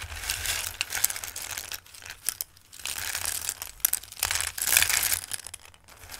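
Fingertips with long nails rake and shuffle hard dried pasta shapes in a bowl, then drop a handful back in. The result is a dense, bright, dry clatter and crinkle of many small clicks, rising and falling in bursts with brief quieter gaps.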